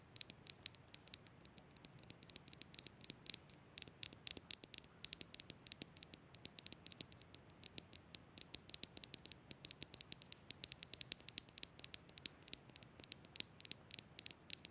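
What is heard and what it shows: Long red nails tap and scratch the surface of a small, hollow, translucent green plastic jar with a ribbed lid. Dense, quick, soft clicks and scratchy patter run throughout, mostly bright and high with very short decay over a faint hiss.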